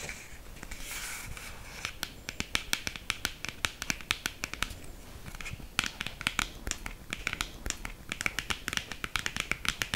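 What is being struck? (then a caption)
Small cardboard box. A small, narrow, hollow black printed cardboard box for a liquid lipstick is tapped rapidly with long green acrylic nails. After a soft scratchy rustle at the start, quick, sharp, bright clicks follow in uneven bursts, each dying away almost at once.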